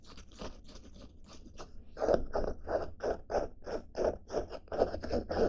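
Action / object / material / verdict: scrape / denim fabric backpack / denim / none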